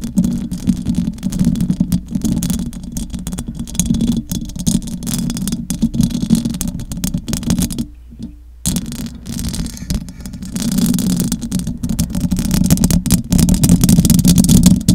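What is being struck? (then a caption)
Metal mesh microphone grille. Fingers with long acrylic nails scratch the rounded metal mesh grille of a large silver USB condenser microphone, producing a dense, rapid, irregular scratching rasp. It sits over a strong low rumbling hum centered near 200 Hz. The scratching drops out briefly around the eight-second mark, then resumes and grows louder toward the end.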